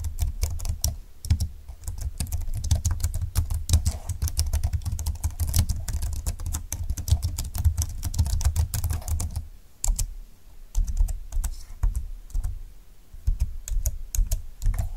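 A full-size plastic scissor-key keyboard with a silver plastic frame, dark flat keys and a hollow plastic body is typed on with fingertips and long nails. Rapid, dense, short clicks and taps have a deep, hollow low thump beneath their bright edges. The typing pauses briefly near the ten-second mark, then resumes in sparser bursts.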